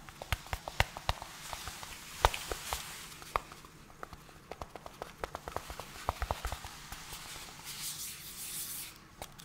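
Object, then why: Small cardboard box. Gloved fingertips tap and scratch a small, hollow yellow-white cardboard product box held close to the microphone. Sharp, dry taps click out in an uneven run, with quick decay, over a soft papery scratching. Near the end this swells into a brighter, hissy rustle.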